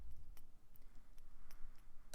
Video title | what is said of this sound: Colorful Christmas Ornament and Present Tapping ASMR, Soft-Spoken | He's also quite dense as you may hear.